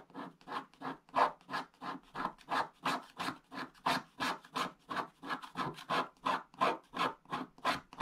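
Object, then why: Wax-coated scratch-art paper scraped with a wooden stick. A wooden stick scratches around an outline drawing on a flat, wax-coated scratch-art paper page with a black coating over blue foil. Twenty-four short, dry rasping strokes come in a fairly steady rhythm of about three per second, each a brief scrape centered near 1 kHz with bright edges and almost no low end. The strokes are quiet and stop cleanly, with no ring afterward.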